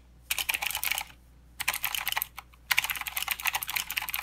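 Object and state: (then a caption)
Plastic mechanical keyboard. Both hands type with their fingertips on a full-size mechanical keyboard with plastic keycaps and blue clicky switches. The result is three bursts of rapid, bright, sharp clicks separated by short pauses, with each click cutting off almost instantly and the last burst running to the end.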